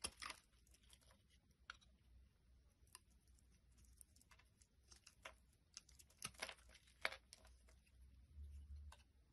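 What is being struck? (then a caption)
Glycerin soap bar cut with a metal blade. A small, solid, translucent red glycerin soap bar held in the hand is scraped and shaved with a metal utility blade, and the curls fall onto a wooden surface. Quiet, bright, crisp scraping strokes crackle in short, irregular bursts over a faint low hum.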